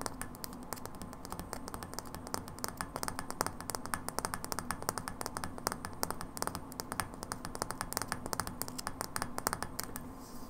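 A hollow frosted glass light bulb, held horizontally, is tapped with long nails in a rapid, uneven stream of sharp, bright clicks. Each tap dies away almost instantly with only a faint glassy ring, over a steady low hum.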